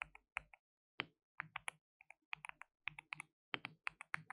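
Fingertips rapidly type and tap on a white RGB-backlit compact mechanical keyboard with plastic keycaps and a hollow case. About 23 sharp, bright, clacky keystrokes land in uneven bursts with short pauses between them. Each click is dry and dies away almost instantly, with very little low end.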